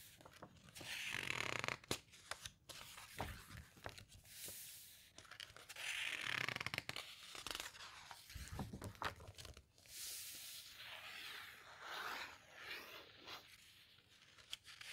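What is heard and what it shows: Long-nailed fingers squeeze, rub and turn the glossy thin paper pages of a smaller open hardcover guitar book. Bright, crinkly rustles and papery swishes come in irregular bursts, broken by sharp little clicks and snaps as the pages bend and flip. The clip stays quiet throughout.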